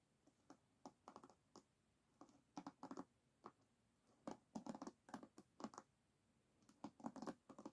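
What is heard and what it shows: Fingernails scratch and pluck the wooden pins of an oval wooden hairbrush held on a table. The result is quiet, dry clicks with a soft woody tone, arriving singly and in quick clusters. Each click dies away almost at once.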